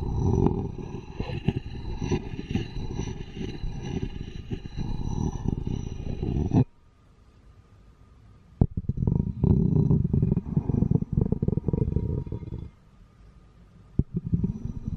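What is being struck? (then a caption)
Textured ceramic bowl and wooden spoon. A wooden spoon rubs and taps the textured inside of an empty, hollow, patterned ceramic bowl, making a low, dense scraping rumble. The scraping breaks off into near silence, a sharp tap sounds, and then the spoon's handle end takes over with more coarse rubbing and a few crisp clicks. The sound is heavy in the low end, with only faint high scratching above it.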